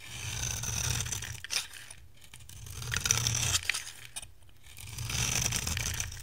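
A metal cutter blade shaves curls off the surface of a dry, solid oval bar of white soap with a green rim, held in the hand. Three long, bright scraping, crunching strokes swell and fade with brief quiet gaps between them, over a faint low hum.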